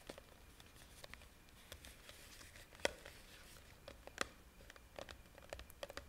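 A hand-sized clear plastic jar with a red plastic lid, filled with pink pieces, is held up and tapped and scratched on its sides with long painted nails. Quiet, dry scratching and crinkly rustling run throughout, broken by short, bright clicking taps at irregular intervals. Two taps stand out more sharply than the rest.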